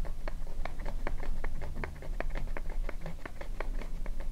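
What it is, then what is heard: Plastic lotion bottle. Long nails tap quickly on a small white plastic cosmetic lotion bottle with a purple cap. The result is a rapid, slightly uneven stream of light, clicky plastic taps with bright edges, heard over a steady low hum.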